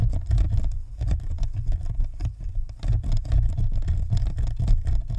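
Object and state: Plastic ball microphone tapped with nails.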